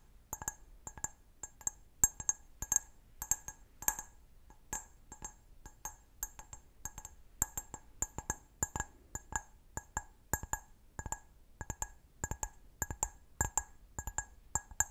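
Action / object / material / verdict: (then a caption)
tap / glass wine glass / glass / none. A clear, medium-sized, empty stemmed wine glass is held sideways and tapped quickly with fingernails on its foot and bowl. The result is a rapid, uneven string of bright, glassy clinks that stop almost at once, each with a high ping and softer tones near 800 Hz and 1.7 kHz.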